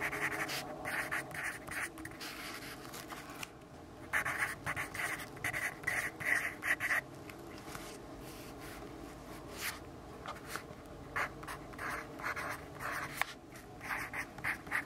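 A yellow graphite pencil writes text on the page of an open grid-paper notebook. It makes a series of short, dry scratching strokes centered around 2 kHz with a bright, papery edge, separated by quiet pauses over a faint steady background hum.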